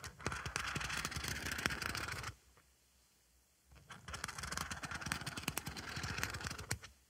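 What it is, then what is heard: Scrubbing sponge scratched. A thin black stick scratches across the rough white dotted face of a flat oval synthetic scrubbing sponge with a pink textured edge, held in one hand. Dense, gritty scratching crackles brightly for about two seconds, stops for over a second, then resumes for another few seconds before fading.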